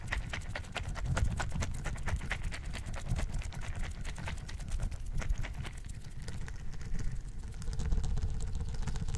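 A tall orange plastic pill bottle with a blue label and white cap, partly filled with small gel beads, is shaken and handled with the fingers close to the mic. It produces a steady stream of quick, dense rattles and soft clicks over a heavy low rumble, lasting the full nine seconds with no pauses.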